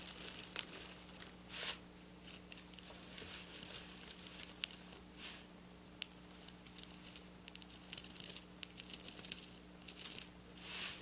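Long black nails scratch and rub close up across silver sequin fabric. Bright, crinkly scraping bursts come in irregular waves, with quick sharp clicks between them. A faint, steady low hum runs underneath throughout.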